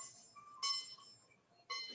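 A tensioned steel piercing saw blade in a jeweller's saw frame is plucked three times, each pluck giving a bright, high metallic ping with ringing overtones. The clear ping shows the blade has enough tension to cut cleanly and easily.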